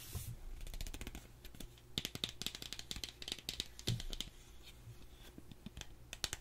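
Long acrylic nails tap and scratch along a small, slim, hollow gold cardboard cosmetic box held in both hands. A rapid run of crisp, bright, short clicks, close to keyboard typing, plays over a steady low hum, with brief scratchy rasps between the taps.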